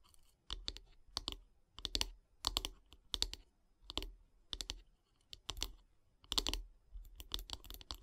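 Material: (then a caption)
Wood. Long nails tap on the handle of a solid light-wood bath brush in quick, irregular clusters. Each tap is a short, dry, bright click with a scratchy edge and almost no ring, set against near silence.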